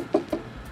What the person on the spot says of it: you can tell that it's plastic because if you knock on it it's going to make that hollow plasticky sound